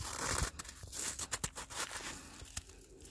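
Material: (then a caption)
Snow. A gloved hand grabs and holds a handful of granular, icy snow that has turned to ice, squeezing and crumbling it between the fingers. Dense, bright crunching and crackling fills the clip, with a few sharper, louder crunches standing out before it eases into a softer, gritty crumble.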